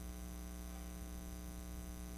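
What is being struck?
Nothing is struck.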